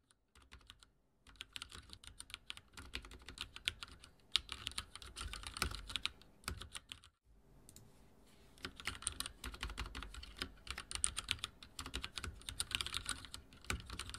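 Both hands type on a full-size backlit mechanical keyboard with linear switches, dark plastic keycaps on a metal-plated frame, resting on a wooden desk. Fingertips tap and press the keys in quick, bright, clacky strokes with very short ring. Brief pauses come near 1, 6.5 and 7.5 seconds before the typing resumes.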